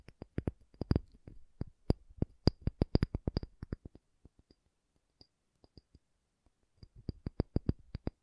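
A pumice stone is tapped in quick, irregular runs of short, dry taps, with a dense burst at the start, a sparse middle stretch, and another quick run at the end. Each tap is a soft, low thud with a faint high click and no ring.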